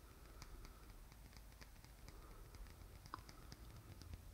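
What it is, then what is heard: Painted wooden egg tapped with nails. Fingernails tap and lightly scratch the lacquered surface of a small black painted wooden Easter egg held in both hands. Soft, dry ticks with bright edges die away almost instantly over a quiet low rumble. One sharper click, with a brief ring near 1 kHz, stands out about three seconds in.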